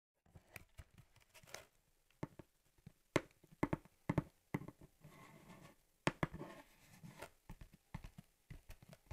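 Long dark-painted nails tap the flat top of a hollow USPS Priority Mail cardboard box held in both hands, making about 14 short, dull, papery knocks. Each knock dies away almost at once, with brief soft scraping and rustling between taps.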